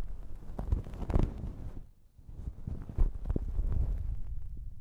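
Long nails rub, scrunch and scratch a thin pink plastic shower cap stretched over a microphone. The result is a muffled, boomy rustling and crinkling with almost all its weight in the low end and only faint brighter scratches, easing into a brief near-silent pause midway before the scrunching picks up again.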